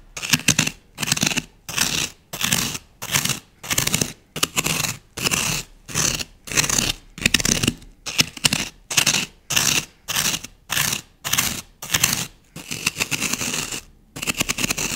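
A solid green floral foam block, held in one hand, is scored and scratched with rapid strokes of a thin wooden skewer. Short bursts of bright, crisp, crackly scraping repeat in a steady rhythm, with clicky onsets and little low end. A longer continuous scratch comes near the end.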